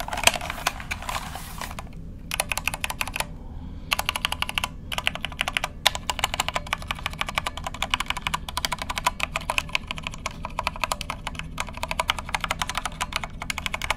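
A compact white plastic mechanical keyboard with a hollow case is held sideways and then upright beside the microphone while fingertips press its keycaps in quick succession. The result is dense, rapid, bright clicky typing with short, sharp key strikes and brief pauses, over a steady low hum.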